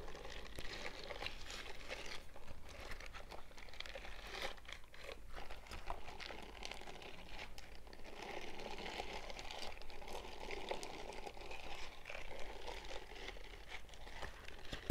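Fingertips and nails scratch and flick the palm bristles of an empty purple silicone scrubbing glove held in both bare hands. The result is a steady stream of soft, dense crinkling and ticking scratches over a constant low hum, with no pauses throughout.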